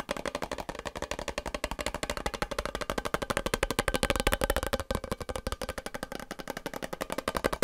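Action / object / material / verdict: tap / cardboard chip tube with metal base and plastic lid / cardboard / none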